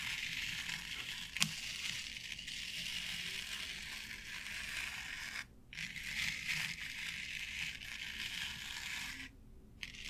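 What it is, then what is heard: Artificial grass board scratched with nails. Long nails scratch steadily across a flat board covered with short synthetic turf, making a bright, dense, crackling rustle with little low end. A sharp tap into the grass stands out early, and the scratching briefly pauses twice before another tap near the end.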